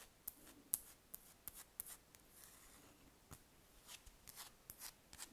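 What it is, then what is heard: Wax ball candle scratched with fingernails. Long red nails scratch and tap at a large, solid spherical wax candle, producing a series of short, sharp, bright scratches and clicks. The sounds are quiet and dry, stopping instantly with no ring, and softer rubbing fills the gaps between them.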